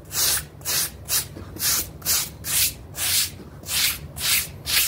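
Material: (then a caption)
Synthetic fibre. A pink bristle brush scrubs a small, damp blue synthetic pile mat in quick strokes while the other hand pins the mat down. Each stroke makes a bright, hissing rasp, and the strokes repeat in a steady back-and-forth rhythm with short quiet gaps between them.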